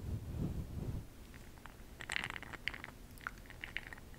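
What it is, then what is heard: Glass jar of makeup pearls rattling. A makeup brush dips into a small clear glass cup full of bronze makeup pearl beads, held in hand, and swirls them. A low, muffled rumble of handling comes first, then the pearls rattle against the glass in quick, bright, dry clicks.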